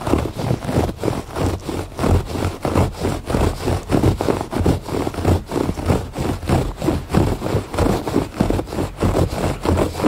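Fingertips and nails scratch the surface of a thick woven fabric rug lying flat. The result is a steady, rhythmic run of dull, low, rasping strokes with little brightness, each one short and swelling and fading in a continuous back-and-forth pattern.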